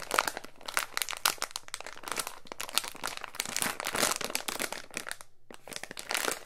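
A small clear plastic resealable zip bag holding a coiled white charging cable is held in both hands, squeezed and rubbed with the fingertips. It gives a steady run of bright, crisp crinkles and crunches, with a brief pause near the end before the crinkling resumes.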